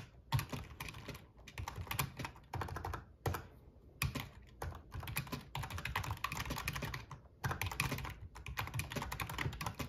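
Fingertips of both hands type on a full-size black plastic RGB membrane gaming keyboard with a metal top plate. Heard are bursts of rapid, soft clacking keystrokes with a low thump under bright clicks, broken by brief pauses.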